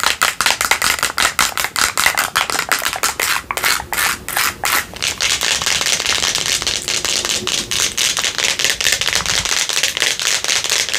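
A hand-sized clear plastic supplement jar with a green screw lid, appearing full of red contents, is held in both hands and tapped and scratched with long nails. Rapid, sharp, bright clicking taps fill the first half, then blend into a dense, continuous hissy scratching that carries on to the end.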